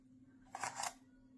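A baked spinach tortilla taco bowl shell is crackled, giving two quick, dry, crisp crunches with bright high-frequency crackle. The crisp sound shows the shell is baked through.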